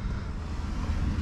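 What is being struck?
Nothing is struck.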